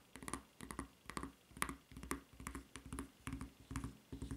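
Long red nails tap and scratch the solid white rubber footbed and red rubber strap of a flip-flop, producing quick, close clusters of soft, dull clicks and short scrapes in a loose, uneven rhythm. Each burst has a low thump with a brighter scratchy edge and dies away almost at once.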